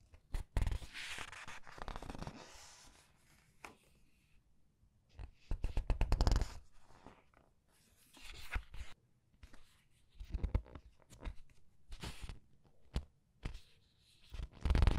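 Red-nailed fingers rub and turn the glossy color pages of a large open paperback art book. Soft paper rustles and crisp crinkling swishes come in bursts, with brief quiet pauses between page movements and a louder flutter at the end.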